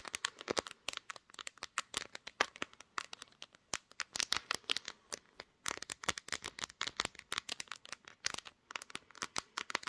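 Long nails from both hands tap and scratch the glass back of a pink glass-backed smartphone resting on a tripod. Rapid, dense, sharp clicks with a scratchy, crinkly texture come in uneven bursts, bright and thin with almost no low end. Each tap dies away almost instantly.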